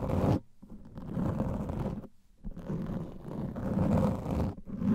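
A large black foam microphone windscreen is scratched with fingernails on its top and sides. The result is dense, muffled scratching and rustling, heavy in the low end with a warm hum around 200 Hz. It comes in sustained bursts separated by brief near-silent pauses.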